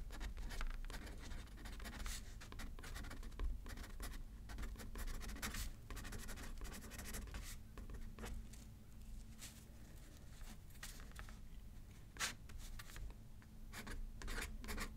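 A pen writes left-handed on a thin paper card resting on a paper pad, scratching and rubbing across the paper in quick, bright strokes with occasional sharper ticks. The writing sounds are soft and sit over a steady low hum.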